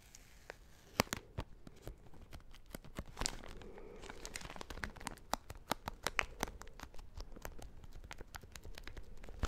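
A full, small soft plastic-wrapped travel pack of tissues is held in the hand while fingernails scratch and crinkle its plastic wrapper. Many sharp, dry crackles and clicks come in quick succession over a soft rustling bed.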